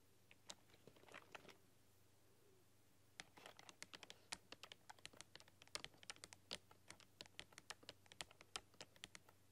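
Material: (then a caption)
Plastic. Fingertips with long, dark-polished nails tap and type on a full-size black plastic RGB computer keyboard with neon backlit keys. A brief flurry of quick, bright, clicky keystrokes is followed by a short pause, then a steadier run of sharp, dry taps that die away almost instantly.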